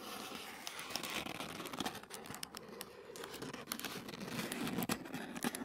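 Fingertips and short nails scratch a thin sheet of white tissue paper lying flat on a wooden table. The sound is a steady, soft crinkling and rustling with dense, rapid scratchy strokes and bright, papery detail, with a few sharper crackles standing out along the way.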